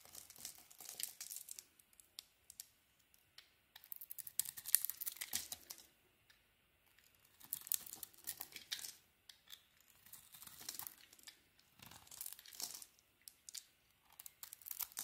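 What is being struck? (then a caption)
Soap bar shaved with a blade. A utility knife blade shaves a solid light green bar of soap, with curls falling away as it scrapes. Quiet, bright, crisp scraping and crinkling comes in dense bursts of rapid strokes, with a short pause near the middle before the shaving resumes.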